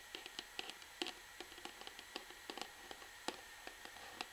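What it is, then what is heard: Plastic shampoo bottle. An upright orange plastic Sunsilk shampoo bottle is tapped rapidly on the front with the long fingernails of both hands, then turned toward the bottom. About 16 quiet, bright, dry clicks sound at an uneven pace, each dying away almost instantly over a faint steady hiss.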